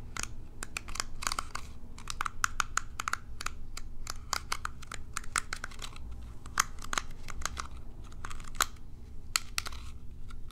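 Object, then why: Plastic pin hairbrush. Long nails flick and scratch the bristles of a small plastic pin hairbrush held in the hand. Rapid, irregular dry clicks and ticks crackle bright over a steady low hum, each snap dying away almost instantly with a faint ring near 1.3 kHz.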